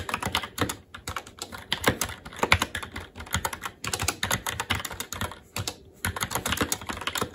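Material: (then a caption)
Plastic. Both hands' fingertips type continuously on a SteelSeries Apex 7 TKL mechanical keyboard with Red switches, black plastic keycaps on a metal plate, and a hollow case with RGB backlight, resting on a desk. Rapid, dry, bright keystroke clacks with a slight low thump run in quick bursts, with brief pauses around 1, 3.8 and 5.8 seconds. Each stroke dies away almost instantly.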